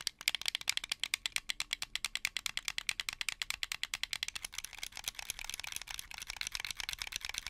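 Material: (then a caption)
Plastic. A hollow, translucent blue plastic Xbox 360 controller is held in both hands while fingertips rapidly click its shoulder buttons and triggers. About fifty sharp, bright plastic clicks follow in a fast, rattling stream that grows denser and more continuous toward the end, with no low end and no ring after each click.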